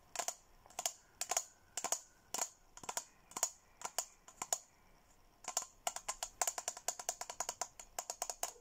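Fingernails rapidly tap the rim and side of a hollow, apparently empty teal Hello Kitty plastic tumbler held in a hand. About 40 crisp, clicky taps come in quick clusters, each with a bright high-frequency snap and a faint tone near 700 Hz that dies away almost instantly. A short pause falls around the five-second mark before the tapping speeds up again.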